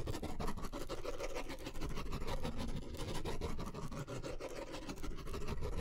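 A blue ballpoint pen is drawn and scratched across a white paper sketch pad of thin stacked sheets, held upright in one hand, in quick scribbling strokes. The sound is a steady run of rapid, dry scratching with a heavy low rumble underneath and little bright content.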